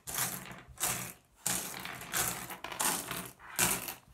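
A pile of small solid blue iridescent flat glass gems on a wooden surface is raked and shuffled with fingertips. Bright, dense clicking and clattering comes in repeated bursts about every half second to second, each swelling and then trailing off into quieter rattling.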